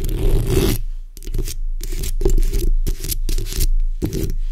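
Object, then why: Metal mesh microphone grille. The backs of long red nails scratch over the hollow metal mesh grille of a black microphone while hands move across the mesh. Repeated bursts of dry, bright scratching rasp alternate with short pauses over a heavy low rumble and a hollow tone around 375 Hz.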